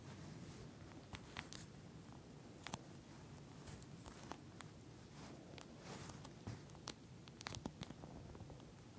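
Long nude nails tap and scratch across a pink, flat eye mask with a clear plastic shell filled with small gel beads, which lies on a dark surface. Quiet, irregular crisp clicks and soft scratchy rustles sit over a low, steady rumble, with occasional sharper bright ticks.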